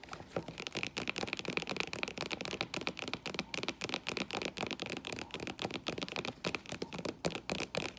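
Long painted nails tap and scratch the tan footbed and metallic faux leather straps of a flat strappy sandal lying on the floor. The result is a rapid, irregular run of dry, crisp clicks and scratchy rustles, bright in tone with a steady edge around 2.4 kHz, each tap dying away almost instantly.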